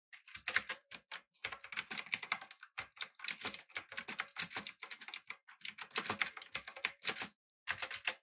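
Fingertips type rapidly on a backlit, typewriter-style mechanical keyboard with blue switches, an aluminum body and round plastic keycaps. The result is a fast run of bright, crisp clicks, each dying away almost instantly, in quick bursts with short pauses between them.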